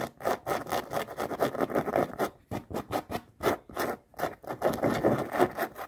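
Long nails scratch and tap quickly along the rubber sole and canvas of a floral canvas sneaker. Fast bursts of dry, raspy scraping and light taps sit mostly in the midrange, with little low end and brief pauses between runs.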